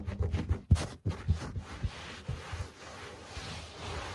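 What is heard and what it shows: Fingertips rub and scratch the pile of a low-pile speckled carpet. Soft, low, muffled scratching scurries along in irregular bursts with a few dull thumps, then settles into a steady faint rustle.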